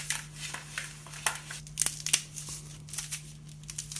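A hand-sized, triangular wedge of dry green floral foam (phenolic foam), solid and porous, is held over a red plastic bowl and squeezed and crushed with the fingertips and thumb. This makes a string of bright, crisp crunches and fine crackles as pieces crumble into the bowl, over a faint, steady low hum.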